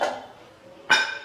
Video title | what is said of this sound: ഓവൻ ഇല്ലാതെ ഇത്ര എളുപ്പത്തിൽ കേക്ക് റസ്ക്ക് ഉണ്ടാക്കാമായിരുന്നോ Cake Rusk- Tea rusk without oven- | ഇത് ഇടുമ്പോൾ തന്നെ സൗണ്ട് മനസ്സിലാകുന്നില്ലേ നല്ല ക്രിസ്പി ആയിട്ട് വന്നിട്ടുണ്ട്